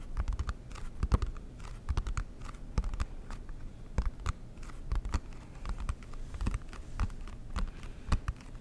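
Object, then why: Cardboard game box lid. Fingertips and nails tap and scratch the lid of a large, flat, rectangular, dark blue cardboard Monopoly board game box with a silver logo, held up close. The hollow box gives quick, dull, low knocks mixed with soft scraping in an irregular, typing-like patter. Each hit dies away almost at once.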